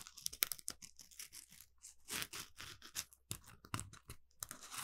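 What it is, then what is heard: Polymer foam scrub sponge. An orange smiley-face Scrub Daddy sponge, palm-sized and made of textured polymer foam, is held in both hands and scratched with the fingertips and nails. It makes quick, quiet, dry scratching and rasping bursts that are bright and crinkly, with little low end. The strokes come in an uneven run of short, crisp sweeps that stop dead with no ring.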